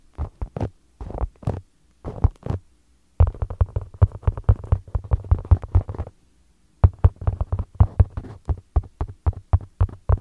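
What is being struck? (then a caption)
Small polyurethane foam ball. Two identical small solid polyurethane foam balls with a soccer-ball pattern are held against the microphone and tapped and stroked with fingertips. The result is soft, deep, muffled thumps around 90 Hz that stop instantly with no ring. They come in quick clusters separated by short pauses, like a rapid heartbeat.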